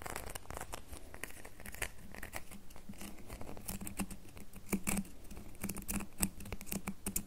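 Long fingernails tap and scratch a solid red bar of soap, making a quiet, steady run of crisp clicks and scratchy bright strokes. Each tap dies away almost instantly, over a soft low hum.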